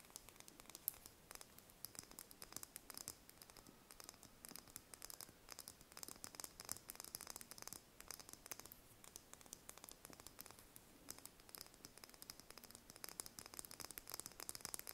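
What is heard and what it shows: Long red nails tap and scratch the thin shell of a single brown chicken egg held in the hands. The result is a quiet, steady stream of rapid, bright, dry clicks and light scratching, each tap dying away instantly with almost no low end.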